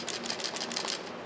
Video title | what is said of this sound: FrSky Taranis Buttons Missing | if I shake it you can hear them rattling around